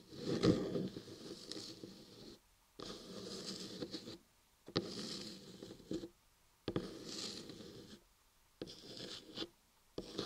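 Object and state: Carved soap block scratched.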